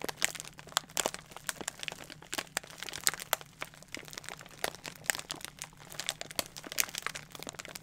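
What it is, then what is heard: Plastic bubble wrap, crinkled and popped. A rolled plastic bubble wrap with a paper label, held against the body, is pressed and popped with fingertips. Sharp, bright pops and crackles ring out irregularly over a steady soft crinkling. Every snap is very short and dies away at once.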